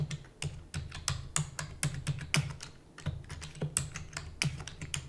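Rapid typing with fingertips and long natural nails on a full-size black plastic computer keyboard with plastic keys and a hollow housing. A quick, uneven stream of sharp, bright clicks rides on a low, hollow thump from each keystroke, and each one dies away almost instantly.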